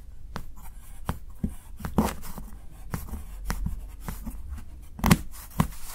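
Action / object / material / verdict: scrape / dark chocolate bar and steel knife / chocolate / none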